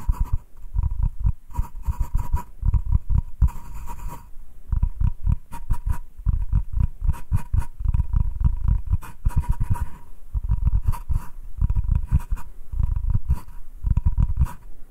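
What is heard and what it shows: Short nails scratch and tap the face of a solid wooden cutting board, first held flat and then tilted. The result is a dense, continuous run of dry, low, thumpy taps mixed with scratchy rasps, with a faint steady tone near 1 kHz and almost no ring after each stroke.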